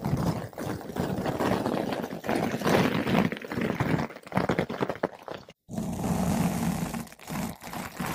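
A flat paintbrush with blue synthetic bristles brushes a large, soft, porous yellow-pink foam ball windscreen fitted over a microphone. The result is a dense, continuous muffled scratching and rustling, heavy in the low end. It drops to silence for a moment just before the six-second mark, then resumes.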